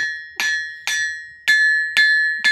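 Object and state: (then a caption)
Hollow-sounding end of a rebar anvil. A small homemade anvil made from scrap steel rebar, resting on lead sheets to deaden the noise, is struck five times on its end. Each strike gives a bright metallic clang with a sustained ring around 1.7 kHz that fades quickly. Struck on the end, the anvil sounds more hollow.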